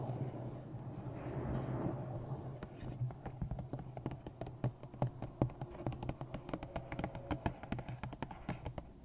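Fingertips and long nails scratch and tap the front cover of a thick, solid, black glossy paperback novel held on the microphone. A soft, brushing scratch in the first two seconds gives way to a steady stream of quick, dry taps at an irregular pace. Each tap is short, with a dull, low body and a slight crisp click.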